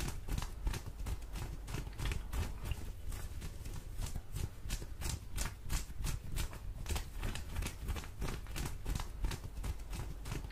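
Long orange fingernails on both hands scratch soft blue cotton denim jeans held up close, with possible mouth sounds mixed in. The clip is a steady stream of quick, irregular scratching strokes: short, dry rasps with bright edges over a dense, muffled low rumble, and nothing rings on after each stroke.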